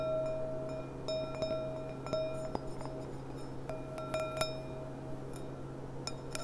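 A clear, empty glass goblet with a gold rim is turned from its side to upright, then long nails tap its bowl and stem. The taps make clear, bright clinks, each ringing briefly with a sustained tone near 650 Hz and high overtones, over a steady low hum.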